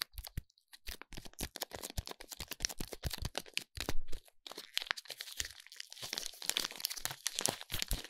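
Fingers squeeze, rub and crinkle the silver foil wrapper of a small solid soap bar. Dense bursts of bright, crackly crinkling and tearing-like rustle follow one another, with soft low thumps underneath. There are brief pauses near the start and midway through.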